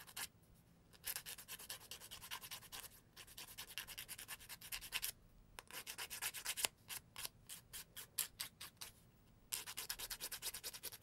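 A thin emery board with a cardboard core and grit is filed back and forth against fingernails. It makes dry, bright, rasping strokes in quick bursts. Short pauses fall at about 1, 3, 5 and 9 seconds, and there is little low end.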